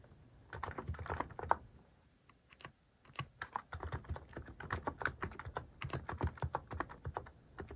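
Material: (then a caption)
Plastic. Fingertips type on a mechanical keyboard fitted with cat-shaped plastic keycaps, making quick, crisp tapping clacks with a soft low thud under each press. A brief burst of typing stops for about a second, then the keystrokes resume in a steady, dense run to the end.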